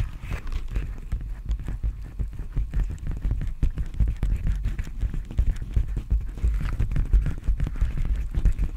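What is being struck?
Plastic bubble mailer.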